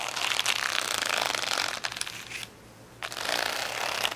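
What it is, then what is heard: Plastic rhinestone sticker sheet. Fingernails scratch quickly across a large plastic rhinestone sticker sheet of rainbow acrylic gems lying flat. The result is a dense, bright, crackling rasp that fades briefly, goes nearly silent for about half a second, then resumes just as busily.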